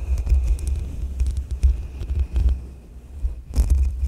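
A soft makeup brush rubs over the hollow metal mesh grille of a black USB microphone. The result is a deep, throbbing low rumble made of repeated soft thumps, with faint bright scratchy crackle riding on top and a steady thin tone in the upper mids. The sound thins and fades out briefly before the brushing swells again.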